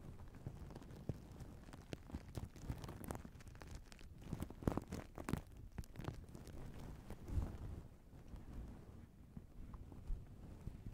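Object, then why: Fabric pillowcase with sequin patches. A fabric pillowcase with sequin patches, draped and stuffed close to the mic, is scratched and its sequins flipped with fingertips and nails. The result is a soft, low, rustling patter of many quick, dry clicks and scrapes with a few louder flicks.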